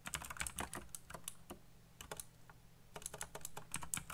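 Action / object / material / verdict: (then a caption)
tap / mechanical keyboard with plastic keycaps / plastic / none. Fingertips type fast on a backlit mechanical keyboard with black plastic keycaps, producing bursts of sharp, bright clicks that stop almost instantly. A brief lull near the middle breaks the typing, and a low steady hum sits beneath the keystrokes throughout.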